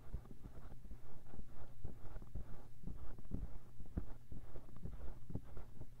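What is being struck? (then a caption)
Silicone ear of a binaural microphone. Fingertips quickly scratch and rub the soft silicone ear inside the white plastic disc housing of a 3Dio binaural microphone. The result is a dense, low, rumbling stream of muffled scratches and thumps, pulsing at about two per second, with almost all energy in the deep bass.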